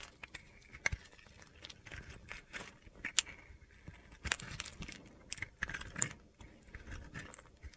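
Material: Soap.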